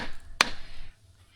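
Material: Rock.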